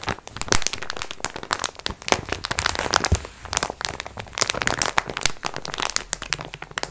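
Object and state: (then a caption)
Plastic-wrapped pack of sponge cloths. A plastic-wrapped multipack of sponge cloths is held upright in both hands while long nails scratch and squeeze the plastic film. Dense, sharp crinkles and crackles burst across a bright, broad range, with soft low rustling beneath. A short, quieter lull comes around the middle of the clip.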